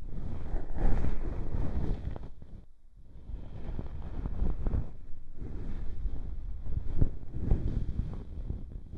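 The feather tuft of a fluffy ear pick on a bamboo stick is rubbed across the bowl of a white silicone binaural microphone ear. The result is a dense, low, muffled rumbling and brushing that swells and fades in uneven strokes. It briefly drops almost to silence near the three-second mark before resuming.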